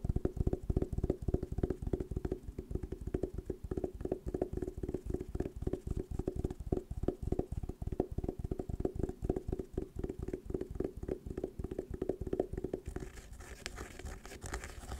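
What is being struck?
Fabric-covered hard sunglasses case.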